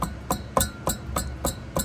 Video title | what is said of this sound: Mercedes W140 S500 M119 Something is rattling around inside the driveshaft! WTF is it? | Something's rattling. Let me see if I can shake it while I'm sitting here. Hear that tinging?